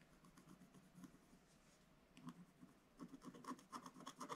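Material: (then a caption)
Coated paper. A wooden stylus scratches across the lower part of the picture on a flat, black-coated scratch-art paper page. Soft, dry scraping strokes rasp along in an uneven rhythm, quiet at first and then growing into louder, brighter scratches near the end.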